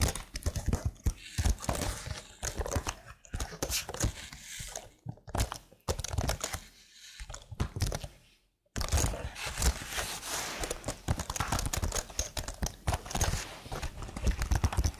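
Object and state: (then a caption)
Plastic computer keyboard being typed on. Long blue nails tap and type with both hands on a hollow, slim black plastic keyboard with marble-patterned keys. Quick, dense clicking and clacking fills the clip, with a brief silent pause just before the 9-second mark. The taps ring short and hollow, with a thuddy low end and bright clicks on top.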